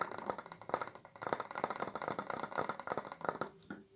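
A large, round, white frosted glass light bulb with a metal screw base, hollow and held in both hands, is tapped and scratched with long acrylic nails. The result is a quick, dense run of light, bright clicks and scratchy ticks with almost no low end and no ring. The sound thins out near the end, leaving a faint soft tone.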